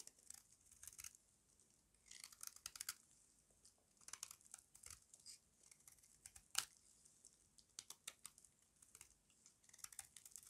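A small metal blade scrapes curls off a solid square bar of dry white soap held in the palm. The result is quiet, bright, crisp crunching and scraping in short dry bursts with almost no low end, clustered in bunches across the clip.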